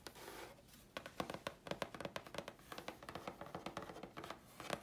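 Long fingernails scratch and tap the face and edge of a thin, flat grey chipboard sheet. A soft, airy scratching opens the clip, then gives way to a quick series of short, dry taps with a hollow tone around 580 Hz and a bright, papery click on top. Each tap dies away almost instantly.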